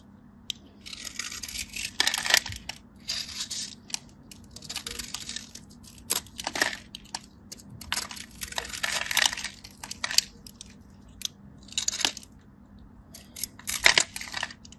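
A metal craft blade scrapes and cuts into the crosshatched surface of a solid, dry, hand-sized white bar soap held in the hand, flaking off crunchy cubes. Bursts of bright, crisp scraping and crunching come in uneven runs with short dry clicks between them, over a faint steady low hum.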